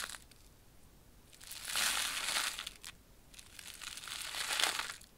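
A small flat purple plastic foil pouch of popping candy is held up in both hands and crinkled and squeezed with the fingertips. Two long bursts of bright, crackling crumpling rise and fade, separated by quieter moments with faint crinkles.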